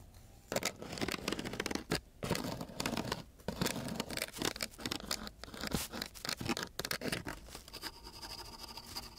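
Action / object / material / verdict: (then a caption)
scrape / coarse sandpaper sheet scratched by thin wooden sticks / sandpaper / none. Two thin wooden sticks are scratched across the grit of a coarse sheet of sandpaper. The result is a run of rough, broadband scratching bursts, bright and gritty, separated by brief pauses. The strokes ease into a softer, steady hiss toward the end.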